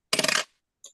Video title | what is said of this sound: LIVE FROM STUDIO B - It's Paul Murray And Friends.... | this is what a gold coin sounds like